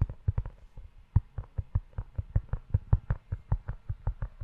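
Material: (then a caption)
Leather. Fingertips tap and rub the leather front cover of a closed, dark brown leather-bound notebook held in one hand. The result is a quick, uneven run of soft, dull, low thuds that die away almost instantly, with faint rubbing between them.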